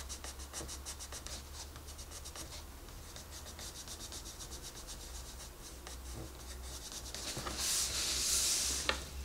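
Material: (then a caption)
Paper. A wooden colored pencil is rubbed and scratched across the page of an open paper coloring book lying flat on a desk, while the other hand, with long red nails, steadies the page. Quick, fairly regular bright scratchy strokes come about four per second over a faint steady low hum. Near the end the rasp swells into a louder hissing sweep and finishes with a sharp tick.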